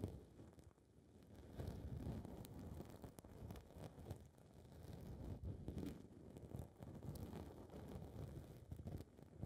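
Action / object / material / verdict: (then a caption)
scrape / foam microphone windscreen / foam / none. Long red nails scratch the surface of a small blue foam microphone windscreen fitted over a recorder's mic capsule. The result is a dense, muffled, low rumbling scrape that swells and fades continuously, with little high-end content.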